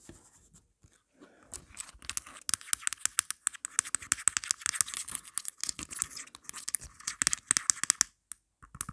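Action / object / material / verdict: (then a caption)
scrape / plastic phone case with grip / plastic / none. Long black nails scratch and tap quickly and forcefully on the back of a hand-held, marble-print plastic phone case and its pop grip. The result is a dense run of sharp, bright clicks and raspy scratches with almost no low end, each sound stopping instantly, with brief pauses near the start and end.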